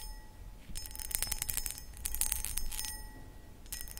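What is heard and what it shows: Long acrylic nails scratch and tap the textured sides of a hollow, empty, medium cut crystal glass footed pedestal bowl. Bursts of bright, gritty scratching and quick clicky taps come in clusters over a low background rumble. Faint, steady high ringing tones hang underneath throughout.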